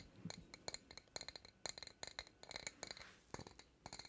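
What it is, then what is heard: Glass jar tapped with fingernails. An empty-looking medium glass jar with a green lid and a printed Princess Tiana design is held up in both hands and tapped with long acrylic nails. A quick, uneven run of light, bright clicks and clinks rings high and dies almost instantly, with faint scraping between the taps.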